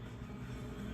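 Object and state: Nothing is struck.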